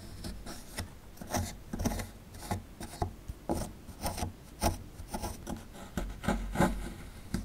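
A metal pick digs and scrapes into the cavity of a solid plaster fossil dig block held in the hand, making repeated short, gritty rasping scrapes with low thuds as the plaster crumbles.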